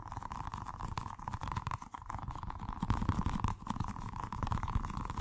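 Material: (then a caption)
Rubber. A small, colorful, squishy stress ball with a rubber skin filled with gel water beads, solid and soft, is held in one hand and rapidly tapped and scratched with fingertips and short nails. The result is a dense, continuous patter of soft, low, muffled thuds with a steady mid-range tone running underneath, and almost no bright, high content.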